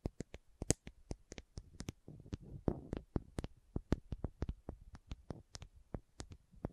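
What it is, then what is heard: Plastic contact lens case. A small hollow plastic contact lens case with green and white screw caps is held in both hands in front of the mic while long manicured nails tap and scratch the caps and twist the lids. A rapid series of sharp, bright clicky taps with very short decay is heard, with a soft scratchy rustle in the middle. The overall sound is quiet and close, with a low hollow body.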